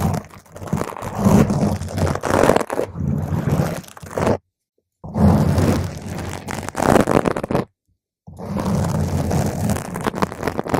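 Long pointed green acrylic nails scratch and tap a purple spherical foam windscreen on a microphone, ending with two single-nail touches on top. Dense, bassy crunching and rustling scrapes fill the clip, broken by two brief silent pauses.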